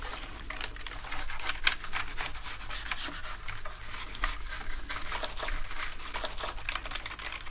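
A toothbrush scrubs along the edges and keys of a dirty black plastic gaming keyboard. It makes a steady, bright, bristly scratching with quick ticking strokes over a low background hum.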